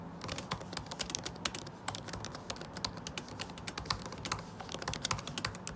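Fingertips, one of them wearing a ring, type fast on a MacBook Pro butterfly keyboard with plastic keycaps set in an aluminum body. The result is a rapid, uneven stream of short, dry, bright taps that stop almost instantly, over a faint low hum.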